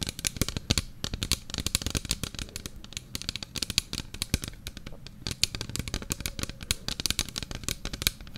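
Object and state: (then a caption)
Plastic bottle, tapped and scratched. A small, mostly empty clear plastic bottle with a lime-green plastic cap and label is held in both hands and tapped and scratched along its sides with fingertips and nails. Dense, rapid clicks and crinkly taps sound bright and crisp, each dying away almost instantly, with a soft low thump beneath them.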